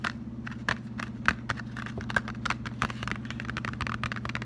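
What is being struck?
Flat cardboard box.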